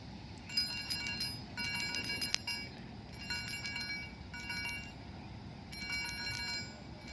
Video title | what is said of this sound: Do you know key chain also can have sound when you shake it just like this metal black 8 key chain | when you move it you can hear the sound